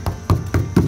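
Four taps on the taut linen fabric covering of a SPAD VII World War I airplane's fuselage, stretched over wooden stringers. Each tap gives a short, low, drum-like thump that dies away quickly.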